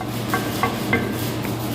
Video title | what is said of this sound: Reinforcing the pulldozer!! | when you tap on it sounds like a spring